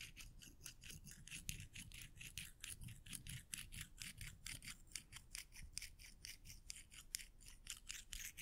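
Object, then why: Small stack of metal coins. A small stack of solid silver metal coins is pinched in the fingertips and rubbed and clicked against each other. Quick, irregular bursts of bright metallic scraping and clicking repeat throughout, over a soft low rumble.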